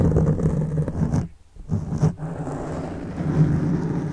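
Fingertips of both hands scratch a black foam microphone windscreen, producing a dense, low, rumbling rustle. The scratching briefly drops to near silence around the one-and-a-half-second mark, then resumes steadily to the end.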